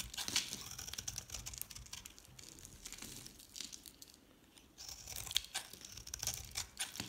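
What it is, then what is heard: Dry soap bar shaved into crisp flakes. A solid, palm-sized yellow dry soap bar with a black painted rim is held in the hand and shaved with a metal utility knife blade, producing crisp flakes. Dense, bright crinkly scraping and crunching runs throughout, fading quieter around the middle before picking up again.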